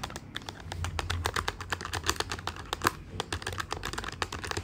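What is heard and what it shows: Fingertips of both hands type rapidly on the plastic keys of a black plastic desktop calculator with a hollow body. The result is a quick, uneven stream of short, sharp clicks with bright, dry attacks and almost no ring, over a faint low hum.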